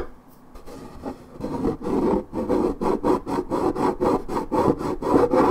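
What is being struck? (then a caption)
Coated paperboard juice carton. Long nails scratch the printed side of a coated paperboard orange juice carton near its scuffed strip. After a faint start, about eleven dry, rasping strokes follow in a loose, quickening rhythm. Each stroke is a short papery scrape centred in the midrange, growing louder toward the end.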